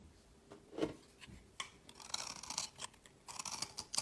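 A metal blade scrapes crumbly shavings off a solid oval green-blue marbled soap bar held in the fingers. Repeated dry, bright scraping strokes come in quick bursts with almost no low end and no ring. Each scrape stops sharply.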